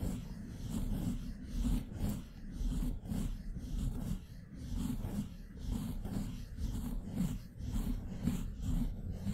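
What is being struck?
Nothing is struck.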